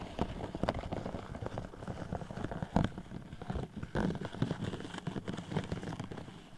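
Long metallic red nails from both hands tap rapidly on a tall, hollow, pink-iridescent plastic sleeve with a raised diamond pattern, fitted over a microphone. The result is a dense, continuous patter of soft, hollow clicks. The sound is heavy in the low end and dies away almost instantly, with a few louder taps standing out.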